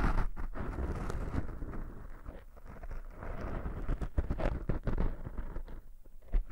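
Fingertips scratch and rub two soft, porous black foam windscreens fitted on binaural microphones. The result is a dense, muffled, low rumbling crackle with uneven scratchy bursts that swell and fade throughout.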